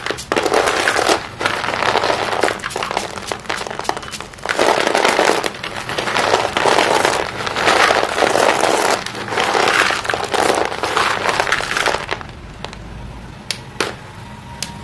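Both hands press, rub and crush a pile of small broken white chalk sticks in a green plastic basin, crumbling them. Dense, gritty crunching and crackling comes in surging waves, then quiets after about 12 seconds to a soft hiss with a few sharp clicks.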